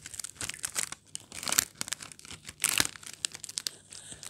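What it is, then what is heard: Metallized plastic biscuit wrapper. A small metallized plastic Oreo biscuit wrapper with a silver-lined film, already opened and partly torn with biscuits likely still inside, is held in white cotton-gloved fingers and crinkled, rubbed and torn. Dense, bright, crackly crinkling fills the clip in quick irregular bursts. Two louder tearing rips stand out near the middle and toward the end.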